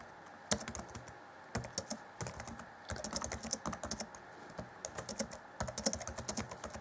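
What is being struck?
Plastic laptop keyboard keys.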